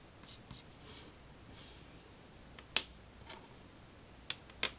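Fingertips hold a pink chalk stick and draw nested hearts on a flat black chalkboard, then fill in the small centre heart with scratchy strokes. Faint, soft, high scratching and brushing sounds drift through the quiet, broken by three sharp, bright clicks of chalk against the board near the end.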